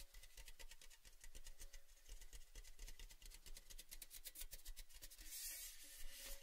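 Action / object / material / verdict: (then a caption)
scrape / painted metal tin canister / painted metal / none. Fingertips rub and scratch the outer surface of an empty, hollow, orange-painted metal Baileys tin canister held in hand with its open end facing forward. Quiet, rapid, rasping scratches repeat steadily with short, dry bursts and a faint low hum beneath, and a brighter hiss swells near the end.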